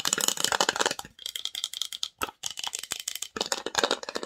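Long nails rapidly tap and scratch the engraved lid and side edges of a small, hollow, varnished wooden box. The result is a dense, dry, rattling clatter of bright clicks and scrapes with almost no low end and no ring after each hit, broken by brief pauses.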